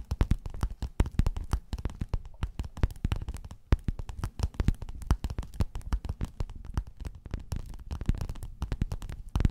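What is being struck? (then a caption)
Padded quilted faux-leather cover. Long nails scratch and tap rapidly across a flat, padded, gold metallic quilted faux-leather cover. The result is a dense, steady run of short, dry clicks and scuffs with a soft, muffled low thump beneath each one. Each sound dies away almost instantly, with no ring.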